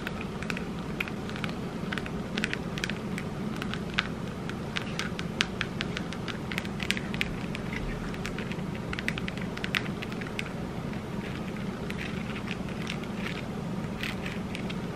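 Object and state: Mirror-tile disco ball ornament.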